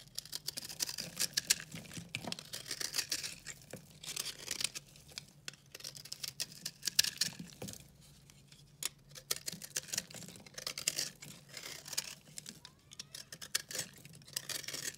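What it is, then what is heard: Dry recycled soap bar. A metal utility-knife blade carves and scrapes a hand-held bar of dry, solid, pink-and-yellow recycled soap, breaking off crumbly flakes. Dense, bright, crisp scraping and crackling come in quick overlapping bursts with brief pauses, and a faint low hum sits underneath.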